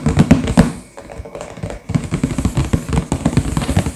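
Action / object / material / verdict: tap / sealed cardboard box / cardboard / none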